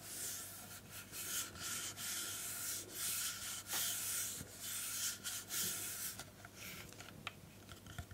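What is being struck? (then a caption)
Plastic hair straightener body. Long painted nails scratch and rub a black plastic hair straightener with its plates opened and hollow body, held close to the microphone. Bright, hissy scraping strokes come in irregular bursts with short pauses, plus a few faint clicks near the end.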